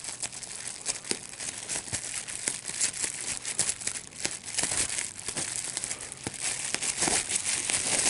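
A large sheet of clear plastic bubble wrap with small air bubbles is held in both hands while the bubbles are popped by pinching them with the fingertips and thumbs. Sharp, bright pops burst out irregularly over a steady, dense crinkling of the plastic, with almost no low end. The popping continues throughout, growing slightly louder toward the end.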